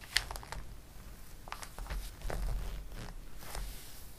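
A glossy paper catalog: fingertips rub across the page and a page is flipped. Soft rustling with brief bright crinkly snaps and a low, dull papery rumble through the flip. Quiet and close.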